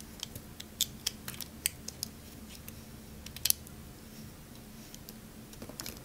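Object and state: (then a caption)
Bar soap being carved. A metal knife blade carves curls off the edges of a solid, hand-sized green bar of soap held in the hand. Short, crisp, bright scraping clicks come at irregular intervals, with the sharpest snap near the middle. A faint low steady hum sits underneath throughout.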